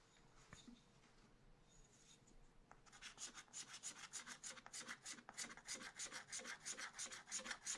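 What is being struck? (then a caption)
Black-coated scratch art card scraped with a wooden stylus. A wooden stylus scratches strokes into a black-coated scratch art card in a spiral pad, working between drawings of potted plants. Soft, sparse scratching for the first few seconds gives way to a steady, rhythmic run of quick, bright, dry rasping strokes, about three per second, that grow slightly louder toward the end.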